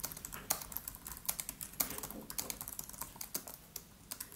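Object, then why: Laptop keyboard with plastic keys on an aluminium body. Fingertips of both hands type rapidly on the black plastic keys of a MacBook Pro laptop with an aluminium body. The result is a steady stream of short, bright, clicky key taps with very little low-end thump, each one dying away almost instantly, with a few louder strikes standing out from the quieter patter.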